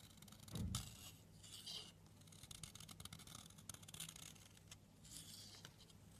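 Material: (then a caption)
Soap. A metal blade scrapes along the edge of a long, solid blue bar of soap held in the hand, cutting off thin slices. Bright, crisp scraping rasps come in several bursts over a steady low hum, with a louder thud near the start.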